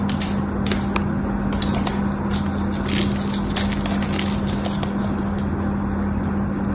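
A small metal knife blade scores and cuts the surface of a solid pink bar of soap held in the hand, so chips crumble off. Dry crackling scrapes and bright, sharp ticks sound over a steady low hum at about 200 Hz.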